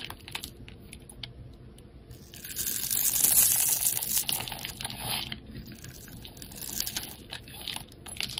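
A utility knife blade scrapes powder off and cuts crisp shavings along the surface and edge of a solid, palm-sized green rectangular bar soap held in the hand. Dry, bright crackling scrapes and crunchy clicks repeat rapidly and unevenly, swelling into a louder, hissing scrape around the middle before easing back to lighter scratching.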